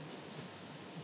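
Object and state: Nothing is struck.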